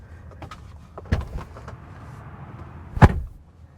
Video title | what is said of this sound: 😱 Exclusive! 2025 Rivian R1S: A Most Fortunately Unfortunate Review | it doesn't sound as substantial